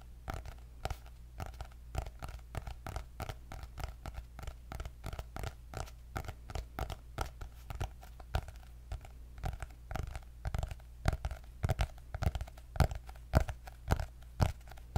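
Long nails scratch and tap on the cardboard cover of a white hardcover paper notebook with gold dots. Quick, dry clicks and short scratchy strokes come in an uneven, fast rhythm, each dying away almost at once. A steady low hum runs underneath throughout.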